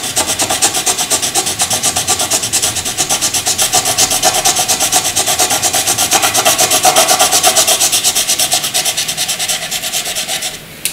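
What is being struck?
Graphite pencil on paper.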